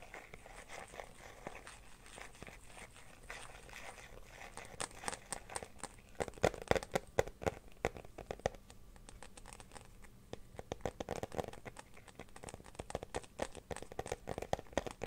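A clear glitter plastic phone case, empty and held in the hands, is scratched on its inner surface by fingernails and tapped along its edge. Soft, crinkly scratching runs throughout, with sharper clicky taps clustering near the middle and the end.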